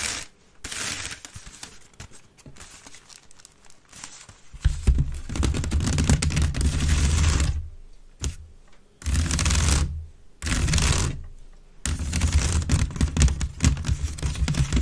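Long nails scratch quickly along the woven sides of a grey wicker waste bin held upright, hollow and empty. The result is bursts of dry, crackling rasps with a deep, hollow rumble from the basket. They come in irregular stretches separated by short pauses.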